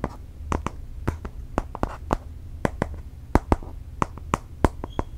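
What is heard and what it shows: Fingernails tap rapidly on the thin, solid aluminium back of a space grey iPad Air 4, which is still covered in protective film and held in both hands. About 20 sharp, dry clicks sound in quick, uneven succession, each dying almost instantly over a low, steady hum.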